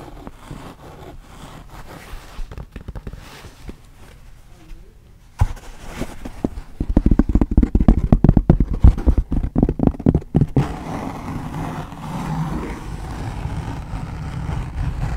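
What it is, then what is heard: Wool felt hat, tapped and scratched. Long painted nails and fingertips tap and scratch a wide-brim pink wool felt fedora with a thin leather band and hollow crown, held close to the microphone. Quiet, soft scratching gives way to a burst of rapid, muffled, low-pitched taps in the middle, then settles into steady, dull rubbing on the felt.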